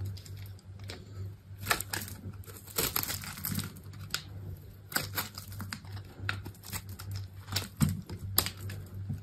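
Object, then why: Bar of soap. A solid, hand-sized olive-green bar of dry soap is held in the hand while a utility knife blade scrapes and cuts dry, brittle flakes from its edges. Quick crisp crackles and crunchy snaps come in irregular bursts, bright and short. They sit over a steady low hum.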